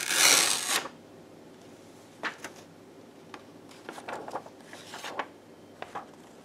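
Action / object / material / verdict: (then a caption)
scrape / sheet of paper / paper / none. A large white paper sheet is torn apart by hands in black lace gloves against a red backdrop. One loud, bright ripping tear opens the clip, followed by quiet pauses and a scatter of softer, crisp crinkles and small tearing snaps.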